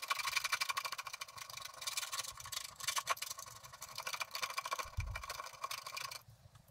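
A wooden stylus scrapes broad areas of black coating off the background of a flat scratch-art paper card lying on a table. The result is a dense, continuous, bright scratching and rasping with rapid gritty strokes and little low end. A brief low thud comes near the end before the scraping fades out.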